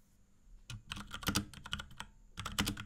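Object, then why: Plastic mechanical keyboard. Fingertips of both hands type rapid key presses on a small pink 75% Akko x Ducky 3084 mechanical keyboard with Cherry MX Brown switches and a plastic case and keycaps, resting on a desk. Quick, uneven bursts of short, bright plastic clacks each have a soft low thud beneath them and die away almost instantly. A faint, steady high whine runs in the background during the pauses.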